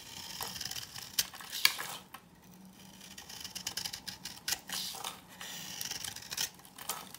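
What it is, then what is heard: Dry bar soap. A knife scrapes and cuts shavings off a dry, hand-held pink-orange bar of soap. Bright, crisp scraping and crumbling sounds come in short bursts, with a couple of sharper clicks early on and quieter gaps between strokes.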